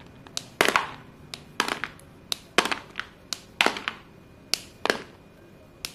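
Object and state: White chalk pieces crumbling.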